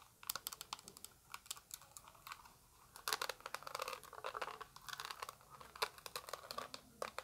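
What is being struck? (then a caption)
Small plastic eyeshadow palette case. Long acrylic nails tap the front and back of a small, translucent orange plastic eyeshadow palette with a hollow case. The taps are rapid, dry and clicky, with a bright hollow tone around 1.1 kHz and almost no ring. After a brief quiet moment the tapping grows denser and busier, sometimes sounding scratchy, like crinkling.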